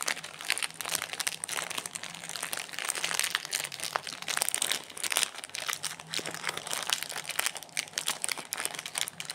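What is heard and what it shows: Fingertips rub, pinch and crinkle the glossy plastic wrapper and its crimped end on a small, solid, sealed Kinder Bueno chocolate bar resting on a granite counter. Dense, bright crinkling and crackling runs continuously with many quick, dry snaps that die away almost instantly. The sound centres around 3 kHz and has almost no low end.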